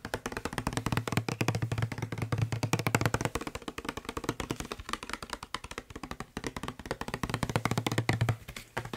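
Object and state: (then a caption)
Plastic spray bottle. A hollow blue plastic Febreze-style spray bottle, held in one hand, is fast-tapped with the fingertips of the other hand in front of a microphone. Rapid, uneven flurries of short, dry taps carry a low hollow tone that swells and fades in bursts.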